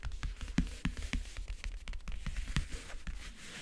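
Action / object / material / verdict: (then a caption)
tap / closed faux-leather-covered backgammon case / faux leather / none. Long painted nails tap and scratch rapidly across the lid of a closed, hollow backgammon case covered in map-print faux leather. Quick, dry, low-heavy taps with short decays are heard, interspersed with soft scratching.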